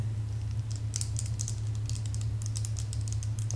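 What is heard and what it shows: A large, hollow pink plastic claw hair clip is turned in the hands and tapped with fingernails on its teeth and sides. Quick, light, bright clicks and taps patter like typing over a steady low hum throughout.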